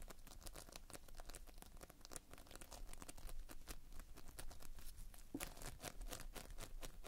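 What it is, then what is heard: Playfoam being squeezed. Fingers squeeze and pull a heap of multicolored Playfoam, foam beads held in a sticky binder. The result is a dense, steady stream of quiet, sticky crackles and tearing pops, each snap bright and brief, over a soft low rumble.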